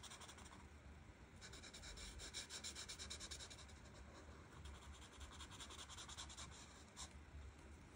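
A chisel-tip alcohol marker, held by a hand with long red nails, rubs back and forth across a thin sheet of printed paper lying flat on a table as it colours in the green background of a colouring page. Soft, bright scratchy strokes repeat in a steady, uneven rhythm over a low hum.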